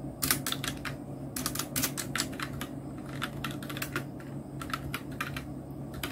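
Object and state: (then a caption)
Plastic mechanical keyboard. Fingertips of both hands type on a full-size black Nubwo Illusion NK-70 mechanical keyboard with Outemu red switches, round plastic typewriter-style keycaps and blue backlight. Quick, bright plastic clacks come in bursts and short pauses over a steady low hum.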